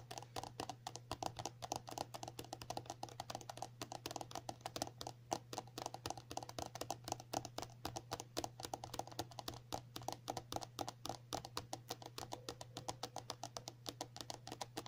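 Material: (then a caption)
Plastic. A filled pink and white soft plastic cream tube is tapped rapidly with the long natural nails of both hands. The result is a quick, continuous patter of short, dry clicks centered around 770 Hz, with a steady low hum underneath.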